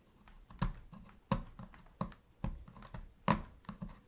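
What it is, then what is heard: Plastic game controller. A metal pick, held in gloved hands, scrapes and taps in the gaps beside the center buttons of a black hollow plastic PS3 controller. Short, dull, hollow clicks stand out over a quiet, low scraping bed. The taps land in an uneven series with brief decays, the loudest near the end.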